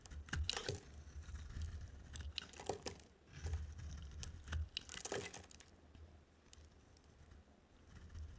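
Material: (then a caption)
Soap. A solid yellow dry soap bar, held in the hand, is shaved with a utility knife blade, peeling off thick curls. Repeated crisp scraping and cutting strokes give bright crackling, tearing textures over a soft low rumble, with short pauses between passes.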